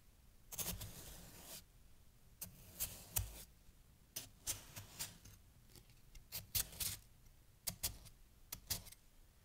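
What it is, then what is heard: Fresh snow cut with a metal knife. A steel kitchen knife held in the hand slices and chops down repeatedly into a loose heap of packed white snow chunks resting on a green towel, the blade staying in the snow without striking a board. Each cut gives a bright, crisp crunch with a soft low thump underneath, some longer scraping slices and many short, quick chops, separated by quiet gaps.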